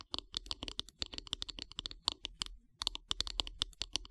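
Long grey-painted nails tap rapidly along the solid wooden handle of a bristle body brush lying on a wood-slice mat. The quick, dry, bright clicks stop instantly with no ring, come in two bursts of about 29 taps, and pause briefly in the middle.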